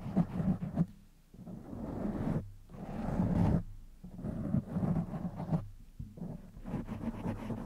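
Fingertips of both hands scratch and rub the black foam windscreen on a silver condenser microphone. The result is a deep, muffled, rumbling scrape that swells and fades in uneven bursts with brief quieter dips between them.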